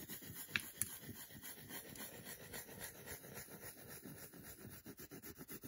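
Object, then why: Solid milk chocolate bar. Fingers and nails rub and scratch the flat back of a solid milk chocolate bar, making a quiet, fast, uneven run of dry, bright scratching strokes. A couple of sharp clicks stand out near the start, and the strokes turn shorter and more clipped toward the end.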